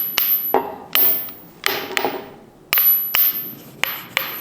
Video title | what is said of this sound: Blacksmithing - Making a Southern German Pattern anvil - Anvil #3 (2021) | sounds like what you hear on uh on a hammer if you listen to a hammerhead